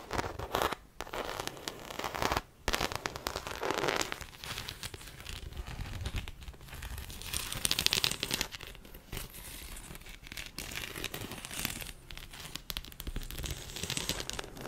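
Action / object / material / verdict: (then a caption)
scrape / croc-embossed faux leather handbag / faux leather / none. Long acrylic nails scratch a small black croc-embossed faux leather shoulder bag, hollow and apparently empty, held up close to the mic. The sound is a dense, bright, crackling scratch that rises and falls in intensity, with brief pauses near the start.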